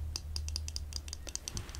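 A pair of eyeglasses, worn on the face, is tapped repeatedly with light, quick taps. Each tap is a short, bright click with a high ring, over a steady low hum.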